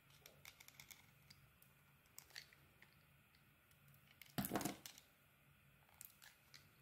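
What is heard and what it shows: A metal blade shaves a solid rectangular bar of soap with a beaded mauve coating and a blue swirl core. Soft, crisp scraping ticks are heard over a faint low hum. Midway through comes one louder, longer, bright rasping shave before the quiet scraping resumes.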